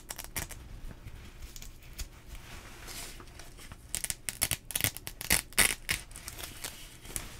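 Fingers pull open and pinch closed the hook-and-loop strap on the sleeve cuff of a teal nylon rain jacket being worn. Soft, steady crinkling of the nylon fills the first half. It gives way to a string of louder, sharp, bright tearing rips from the strap in the second half.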